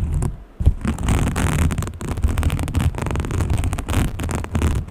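A small green textured fabric case, likely a pouch, is held close and scratched and rubbed with long painted fingernails. The result is a dense, low, muffled scraping and rustling that runs almost continuously, with a brief quiet gap near the start before the rubbing picks back up.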